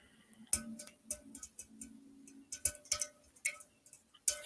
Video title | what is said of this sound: Audio- Free Channeled Messages From Spirit + Paid Readings (See Description Box For More Info) | I don't even know if you can hear that, but I was bored tapping on a soda can,